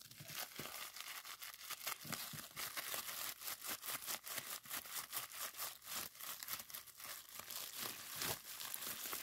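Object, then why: Plastic bubble wrap strip. A strip of clear plastic bubble wrap on a table is twisted and squeezed with the fingers to pop its bubbles. Steady bright crinkling is broken by a rapid run of sharp, crackling pops that stay mostly high in tone with almost no low end.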